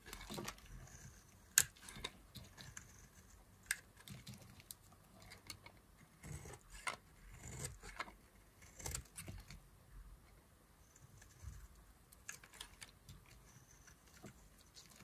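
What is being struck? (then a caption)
Bar of soap carved with a knife. A solid green bar of dry soap, held in fingers with long glitter nails, is carved and scraped into curls with a knife blade. Quiet, crisp scraping and crackly cuts come in short, bright bursts with little low end and almost no ring. Brief pauses of near silence fall between strokes.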